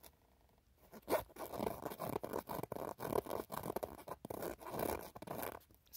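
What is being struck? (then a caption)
Woven canvas handbag. Fingertips and short nails scratch and rub the front panel of a soft-sided, light grey woven canvas handbag with pink leather straps and red croc-embossed trim. After a near-silent start, a quiet run of dry, rasping scratch strokes follows in quick, uneven bursts. Each burst ends at once with no ring.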